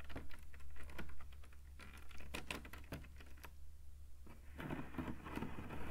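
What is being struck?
Woven rattan cane webbing panel.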